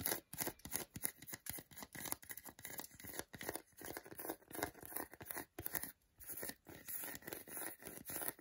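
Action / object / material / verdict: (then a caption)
tap / milk chocolate bar in foil / chocolate / none. Fingertips and nails tap quickly on the segmented front of a whole solid milk chocolate bar held over foil. The result is a fast, irregular stream of short, dry, bright clicks and crinkly scratches with no low body, each dying away almost instantly, with a few brief pauses.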